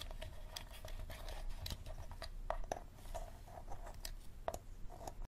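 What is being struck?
Hard plastic water bottle.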